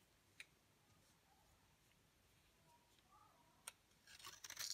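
A utility knife blade scrapes and shaves curls off a dry, solid rectangular yellow DURU bar soap held in hand over a gold glitter mat. Quiet faint scraping is punctuated by two sharp, bright ticks, then builds into a louder, dense, crackly high-pitched shaving at the end.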